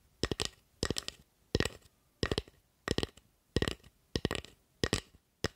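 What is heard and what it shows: Long acrylic nails tap and scratch along the blade and handle of a solid carved wooden spatula held close to the mic. Nine short bursts of quick, dry clicks and scrapes sound, each with a woody low thump and bright, crisp edges. Each burst dies away almost at once into near silence.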